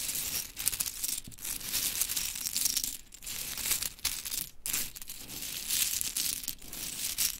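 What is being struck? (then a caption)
Small wooden clothespins. Long chrome nails scoop, drop and rake through a pile of small pink mini wooden clothespins so they clatter onto fabric. The result is a steady, bright, crisp clattering and rustling with brief pauses, mostly in the high range with very little low end.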